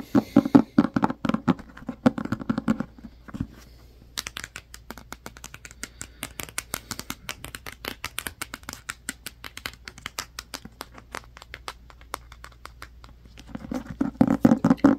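Fingertips tap a black hardcover book, first on the front cover and then along the spine and edges. Quick, uneven taps open with a fuller, hollow thump, then turn quieter, drier and brighter in the middle stretch. The fuller, louder tapping comes back at the end.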